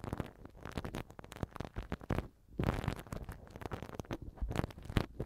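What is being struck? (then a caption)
Silicone ear cover of a microphone rubbed with a silicone-tipped pick. A black silicone-tipped ear pick held in the fingers rubs and scratches inside the right silicone ear cover of a TASCAM microphone, soft tool on soft silicone. It makes dense, muffled, low rumbling scrapes and soft crackles with very little brightness, pausing briefly near the middle before the rubbing resumes.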